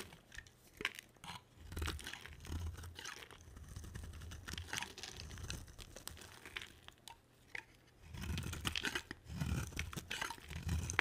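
A palm-sized solid blue striped bar of dry soap is carved with a box cutter blade, giving off crunchy chips. Dense, crisp scraping and crunching comes in bursts with a low rumble underneath, a brief quieter pause near seven to eight seconds, then renewed carving.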